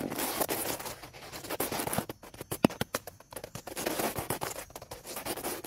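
Two dark, stiff-bristled brushes, one in each hand, scrub fast across a large, dry, cracked, weathered fallen wooden log lying solid on grass outdoors. A rapid stream of broadband scratching and scraping strokes follows, with bright bristle hiss, short pauses, and sharper accented swipes in the middle.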